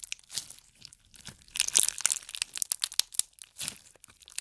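A handful of clear pink slime packed with pink plastic pearl beads, a solid mass, is kneaded and squeezed between fingertips. It gives a rapid stream of bright, crisp crackles and crunchy pops with almost no low end, in bursts that swell loudest around the middle of the clip.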